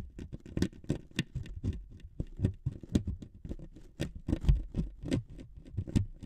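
Two metal needles scrape and scratch the surface of a thin wood veneer sheet resting on two microphones. A quick, irregular patter of soft, low-heavy scratches and ticks follows, each with a brief bright edge and almost no ring.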